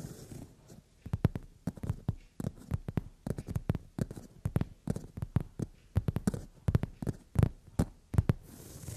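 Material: Leather.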